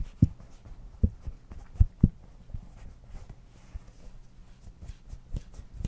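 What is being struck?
Soft silicone night light.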